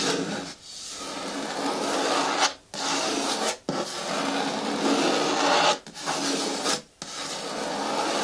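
Fingertips and nails rub the side of a green hard plastic bucket bin with a lid and handle, making a steady, bright rasping scratch. Long strokes run almost continuously, broken by a few short pauses.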